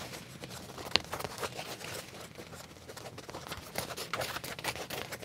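Fingernails scratch and tap on a black leather trouser leg with a pocket. Soft, bright, dry scratching runs throughout, broken by crisp short taps, with one sharp click standing out near the first second.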